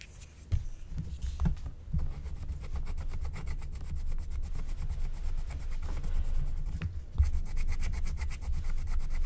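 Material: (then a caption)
Coated paper. A wooden stylus held in fingers with long painted nails scratches away the coating of a flat black-coated scratch-art card sheet with a Care Bears design, lying on a table. The sound is a steady, low rubbing scrape made of quick, dense strokes, with a few sharper ticks standing out along the way.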